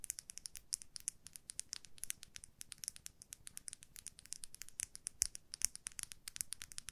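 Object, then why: Makeup brush, plastic handle and metal ferrule. A makeup brush with a white plastic handle and a silver metal ferrule is held horizontally while long nails scratch and tap along its handle and ferrule. Quiet, rapid, bright clicks and light scratches follow one another continuously for the whole clip, each very short with almost no ring and little low end.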